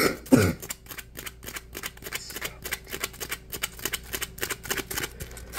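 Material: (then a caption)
Polymer foam. A dry, porous, palm-sized yellow Scrub Daddy polymer foam sponge is scratched with fingernails and squeezed with both hands. A loud crackly squeeze opens the clip, then about 28 quick, bright scratching strokes follow in a steady, rasping rhythm with a faint low hum underneath.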